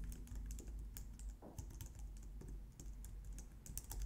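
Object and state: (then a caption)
Plastic computer keyboard being typed on. Both hands type on a white plastic low-profile wireless keyboard, using long nails and fingertips. A quiet, steady stream of rapid, short, bright clicks and taps runs over a low hum.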